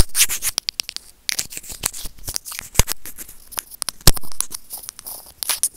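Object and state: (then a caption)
Plastic earphone mic remote. White plastic tweezers scratch and scrape over a small, hollow white plastic earphone mic remote, making dense, bright, crackly scratching with quick clicky taps. A brief quiet pause falls near the one-second mark before the close, rough scraping resumes and continues to the end.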